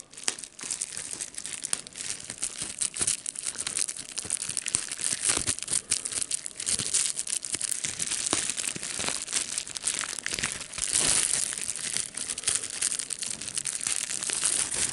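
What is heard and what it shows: A clear plastic bubble wrap sheet is held in both hands while the fingers crumple it and pop the bubbles. The result is a steady, bright crinkling with many sharp, short pops scattered throughout, almost no low end, and a denser, louder stretch near the end.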